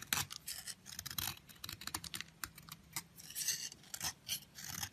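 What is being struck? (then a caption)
Bar of soap shaved with a blade. A long, thin, solid yellow soap bar is held in the fingers while a utility knife blade shaves curls off its surface. A rapid series of crisp, dry scraping and crackling strokes is heard, bright and high with almost no low end. Each shaving cut ends quickly with no ring.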